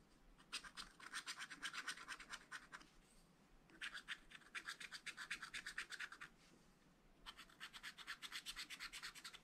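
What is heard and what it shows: A wooden stylus scratches details into a black wax-coated scratch-art page in a small spiral-bound pad of thin, flat paper. It makes quick, dry, bright scratching strokes in three bursts separated by short pauses. The sound is quiet and close with almost no low end.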